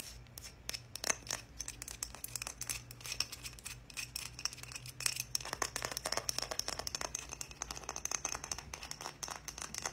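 A small, solid striped wooden heart, held up in both hands, is tapped and scratched with long nails. The result is a dense, fast run of bright, dry clicks and scratchy taps that die away almost at once, over a faint steady low hum.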